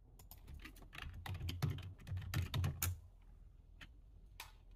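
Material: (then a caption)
Plastic. Fingertips type on a full-size black plastic computer keyboard, first with one hand and then with both. Quick, uneven plastic clacks with a low thud build into a dense burst of keystrokes, then thin out to a few scattered taps.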